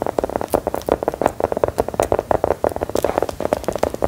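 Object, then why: Round biscuit tapped with metal nails. Long gold metal filigree nail claws rapidly tap and scratch a small, solid, brown round biscuit with an embossed pattern, held in both hands. The result is a dense run of about two dozen short, dry clicks centred around 570 Hz, with faint scratchy rasps between them.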